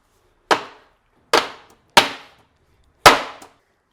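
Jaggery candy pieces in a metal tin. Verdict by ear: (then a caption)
Crisp. Cooled gol papdi, a jaggery, ghee and papadkhar candy, is knocked out of a greased metal cake tin in four sharp, bright cracks, each with a short crackling tail. The candy breaks into pieces as it unmolds, showing it has set properly crisp.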